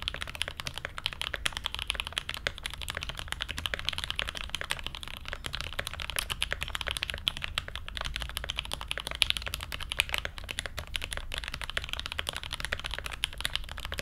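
Steady fingertip typing with both hands on an SG81M mechanical keyboard fitted with Everglide Aqua King switches, a brass plate and blue ABS keycaps. A rapid, continuous stream of short, bright clacks centered near 3 kHz dies away almost instantly, over a faint low rumble. The pace and level stay even throughout.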